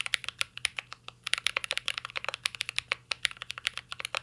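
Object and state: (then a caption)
Mechanical keyboard typing. Fingertips type steadily on a mint-green Cyberboard R3 mechanical keyboard with a metal case and plastic keycaps, producing about 33 quick, bright clacks. Each keystroke is crisp and dies away almost instantly, with a faint low hum underneath.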